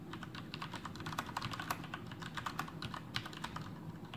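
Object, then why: Plastic mechanical keyboard. Both hands' fingertips type steadily on a full-size black plastic Masterkeys Pro M mechanical keyboard with Cherry MX Brown switches and blue backlit keycaps, resting on a desk. Quick, short clacks with a bright edge sound in an uneven stream over a steady low rumble.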